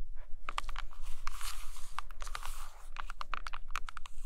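Long acrylic nails on both hands trace across, then tap and scratch, a large hardcover book with a glossy laminated photo cover lying flat. Quick, sharp, dry clicks land at an irregular pace between bright, scratchy rasps and swishes, with no ring after each tap. A steady low hum sits underneath.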